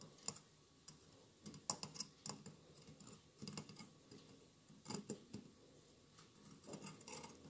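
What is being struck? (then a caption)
Glass mosaic candle holder. Fingertips tap and scratch the tiled sides of a hollow mosaic glass candle holder with a lit candle inside, and near the end the hands move toward its lower part. Quiet, short, bright clicks and scratchy rasps come in uneven clusters, with brief sharp peaks and almost no ring.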